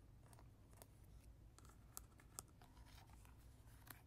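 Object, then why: Hard plastic lion toy. Natural fingernails tap and scratch the face and mane of a hollow, hard plastic lion baby toy, about hand-sized, with a red mane, yellow face and green button, resting on a carpet. Soft, dry scratching runs over a low rumble, broken by a few sharp, bright clicks from the taps that die away almost instantly. The whole clip stays quiet.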